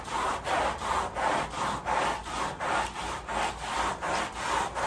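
A long-handled white bristle brush scrubs back and forth across the back side of a large, flat woven fabric rug that lies wet and foamy on plastic sheeting. Each stroke makes a steady, rhythmic, wet rasping swish centered in the midrange with a bright hiss, separated by short pauses between strokes.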